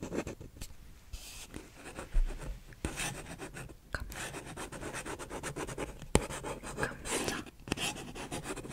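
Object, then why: Paper cup. Fingertips and nails scratch the printed outer wall of a single empty, hollow paper cup held upright in one hand. Soft, dry scratching and rubbing comes in bursts of bright papery hiss over a low hollow rumble, with a few sharp ticks where the nails catch.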